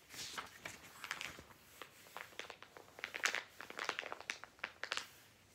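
Fingertips quickly flip through the pages of a thick, glossy-paper Argos "Book of Dreams" toy catalogue resting on a lap. Rapid, crisp crinkles and page flicks follow one another with bright, papery snaps and almost no low end. The sounds are quiet and each decays almost instantly.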